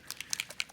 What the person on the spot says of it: the metallic type colors usually have a ball in there they're a little bit thicker so definitely shake it up until you can hear that bottle shaking around